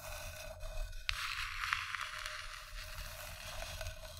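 Long dark-painted nails scratch and tap the inside and rim of an empty, hollow, medium-sized round wooden bowl of polished reddish-brown wood, resting on green fabric beside a second, untouched bowl. A steady, bright, rustling scrape runs throughout, broken by a few sharper, short taps over a low background rumble.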